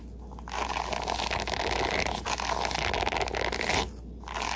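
Fingertips and nails scratch and rake across the dense dark, light-tipped plastic bristles of a hairbrush with a wooden handle, with some handling of the handle. A dense, crackly, bright scraping rasp runs almost continuously for over three seconds, drops to a quiet pause, then starts again at the end.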